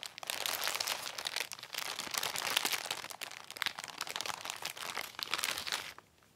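A white Amazon plastic poly mailer, soft and filled, lies flat on a lace tablecloth and is rubbed and pressed with fingertips. It produces dense, bright crinkling with crisp crackles in continuous waves and almost no low end. The sound stops abruptly after about six seconds, leaving near silence.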